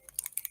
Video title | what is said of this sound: Alcohol Art Experiments | a little metal ball that rattles around inside there